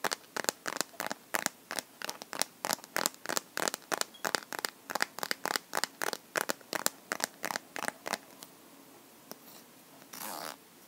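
Fingernails tap and scratch the back and edges of a clear plastic liquid-glitter phone case on a smartphone held in both hands. About three dozen quick, dry, bright clicks come at an uneven pace for roughly eight seconds. A few faint scrapes follow, then a short hissing scratch at the end.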